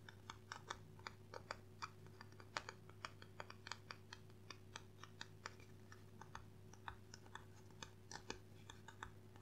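Gloved fingertips tap quickly on the cardboard cover and spine of a solid dark blue hardcover book held in both hands. The result is a rapid, uneven run of short, dry, bright clicks that sounds like typing. A steady low hum sits underneath the quiet tapping.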